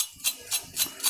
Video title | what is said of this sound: आता प्रत्येक गृहिणी बनवेल मंच्यु-वडा - क्रिस्पी मेंदू वडा - Crispy medu vada - Manchyu Vada new | अशी छान एकदम वरून पण क्रिस्पी आहेत